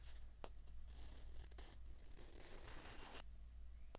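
Two small, hollow, white plastic ping pong balls are held together and rubbed and scraped against each other with the fingers. The result is a quiet, dry, hissy scraping with a few brief sharp clicks, over a steady low hum.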